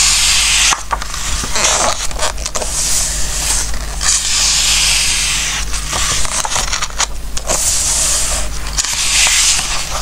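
Fingertips slide and rub across the coated pages of an open glossy-paper Christmas book resting on a wooden table, then turn a page. A continuous bright, hissy paper rubbing runs throughout, broken by brief crisp rustles and crinkles, over a steady low hum.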